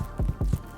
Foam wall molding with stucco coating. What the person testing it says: you hear it it's Hollow because it's foam